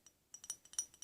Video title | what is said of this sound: ASMR - A few triggers and a whispered talk down for sleep | I like a sort of ping sound that it gives because of the porcelain ceramic